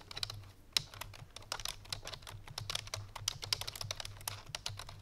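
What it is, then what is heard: Plastic computer keyboard being typed on. A full-size black plastic computer keyboard resting on a white fur rug is typed on rapidly with the fingertips and painted nails of both hands. The result is a dense run of short, bright, clicky keystrokes with a few sharper taps standing out, over a faint steady low hum.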